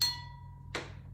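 A drinking glass holding more water is tapped twice. The first tap rings with a clear, bright tone that fades over a fraction of a second, and the second is a sharper, noisier clink. The fuller glass gives a lower pitch, showing that more water in the glass lowers the pitch.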